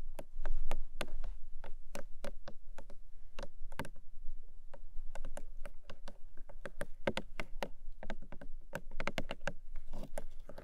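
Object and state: Small hollow paperboard box.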